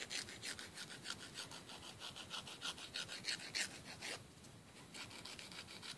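A thin, flat, solid emery board held in the fingers is rubbed against fingernail tips over a wooden table. It makes about 15 rapid, bright, raspy filing strokes with a short quieter break near the end.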